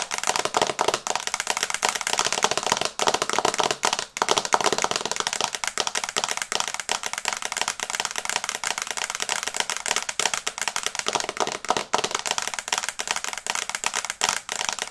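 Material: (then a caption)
Glass. Long red nails tap fast on the glass screen of an iPad in a teal plastic case, held upright in both hands, in a typing-like rhythm. The result is a steady stream of rapid, dry, bright clicks with almost no low end, each tap dying away almost instantly.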